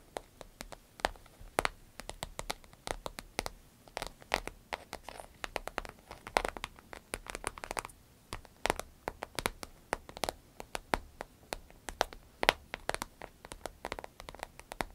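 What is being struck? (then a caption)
Vinyl zip pouch. Long nails tap and scratch an empty, medium green striped glossy vinyl zip pouch. It makes a steady stream of quick, dry, crinkly clicks and scratchy rustles with a bright edge. Each tap stops almost instantly, and there is little low end.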